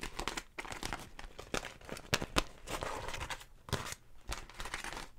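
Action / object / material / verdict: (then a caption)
scrape / beeswax wrap, wax-coated cotton / waxed cotton / none. A large floral beeswax wrap, a wax-coated cotton fabric sheet, is crumpled, crinkled and rubbed with hands and long nails beside the mic. Dense, sticky crackling and crinkling comes in uneven bursts with sharp, bright snaps and brief tearing-like rasps between quieter rustling.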